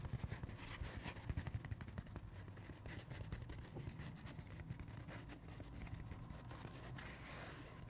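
Fingertips and nails tap and scratch the flat face of a dry, pink, peanut-shaped porous foam kids sponge that is hand-sized and solid. Soft, dull taps come first, then a steady muffled scratching with many small onsets. The sound is quiet and mostly low, with little bright content.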